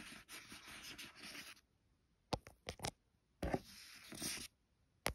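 Long nails and fingertips scratch and trace over the glossy card cover of a paperback book lying flat. A dry, bright scratching runs for over a second, then short separate scrapes and taps follow. A second stretch of scratching ends with a single sharp tap.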